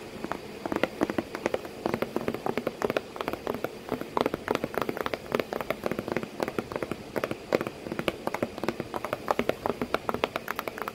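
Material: Cardboard.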